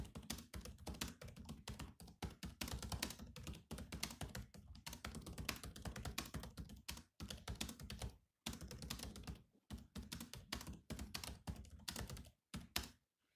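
Fingertips of both hands tap continuously on the black plastic chiclet keys of a silver laptop with a hollow shell. The result is a dense, rapid stream of short, dry clicks with a thudding low body and a bright top edge. Brief pauses break the typing near the 7, 8.5, 9.5 and 12.5 second marks before it stops at the end.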